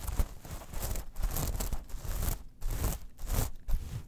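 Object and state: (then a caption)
Metal mesh pouch. Long fingernails on both hands scratch a small metal mesh clutch pouch lying on a fur rug. Bursts of bright, gritty rustling and crinkling come with a soft low rumble, broken by brief pauses about two and a half seconds in and again near the end.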